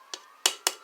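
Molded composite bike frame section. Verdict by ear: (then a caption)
Hollow. Four sharp taps on an unfilled, hollow section of a molded composite bike frame. Each tap is a bright, clicky knock with most of its energy in the high frequencies and a very short ring. The taps confirm that this section of the frame is hollow.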